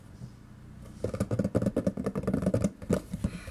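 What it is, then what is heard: Cardboard food box tapped. A small-to-medium hollow yellow printed cardboard food product box, contents not visible, is held in the hand and tapped with the fingertips and nails. After a quiet first second, 13 quick, irregular taps follow, producing dull, low, hollow thuds with dry clicks that die away instantly.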